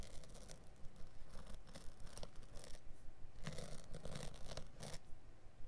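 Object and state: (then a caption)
Carpet backing being scored with a blade. A blade tip is dragged along the light, woven or felt underside of a small carpet piece held flat by one hand, scoring and scratching the backing. Quiet, dry, brushy scrapes repeat at roughly two per second over a low rumble, with brighter rasping bursts on some strokes.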